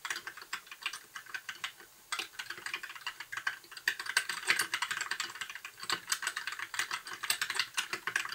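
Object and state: Plastic mechanical keyboard.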